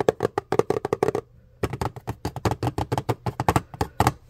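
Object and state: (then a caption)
Cardboard product box. A hollow printed-cardboard retail box for an Intex electric pump, with the product inside, is held in the hands and tapped and scratched with fingernails. About 25 quick, dry taps and scrapes come in rapid bursts with a short pause partway through, each with a hollow, boxy knock and almost no ring.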